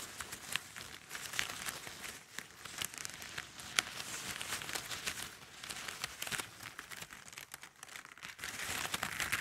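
Fingertips and long nails rub and scratch across a pile of thin, hollow, multicolored plastic drinking straws laid flat on a table. The result is a steady, bright crinkling and scratching with many sharp little clicks and rustles, and almost no low end.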